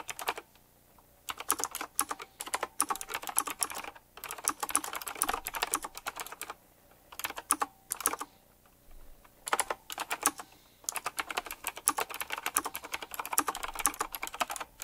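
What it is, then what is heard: Retro typewriter-style mechanical keyboard. Both hands type fast with their fingertips on a retro typewriter-style mechanical keyboard with round plastic keycaps and metal rims. Bright, crisp clacks come in rapid bursts separated by short pauses, each keystroke dying away almost instantly with very little low end.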